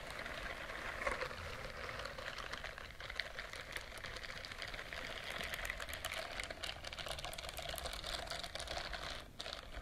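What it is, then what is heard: Silicone scrubbing glove. A white silicone dishwashing glove with short bristles is worn on one hand near the microphone while the other hand's long nails and fingertips scratch and rub across the bristled surface. A steady, dense crackling of tiny scratches and brushing strokes fills the clip, bright and airy with a midrange rasp, with a brief dip near the end.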